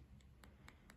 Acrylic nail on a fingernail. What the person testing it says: when I tap on it, it sounds like it's relatively hard